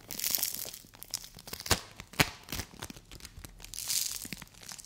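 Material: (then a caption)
Polystyrene beads. Fingers with long white nails press and tear apart a soft, solid, palm-sized yellow dome of play foam made of small polystyrene beads. The result is a bright, crinkly crackling and tearing, with a few sharper snaps standing out in the middle and hissy bursts of crackle at the start and near the end.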